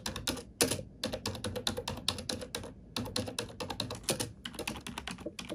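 A black plastic computer keyboard is typed on with fingertips and nails, producing a quick, uneven run of bright, clicky taps with a hollow low clack under each keystroke. Each tap dies away almost at once, with a brief pause near the middle before the typing resumes.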